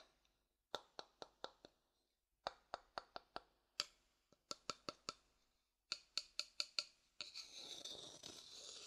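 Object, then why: Wooden bowl tapped and scraped with a thin wooden stick. A thin wooden stick taps the inside of a pale, hollow, empty wooden bowl held close to the mic, giving sharp, bright clicks in quick runs of about five with short pauses between. Each tap is dry and dies away almost at once. In the last couple of seconds the stick scrapes steadily around the inside surface, making a continuous high, hissy scratching.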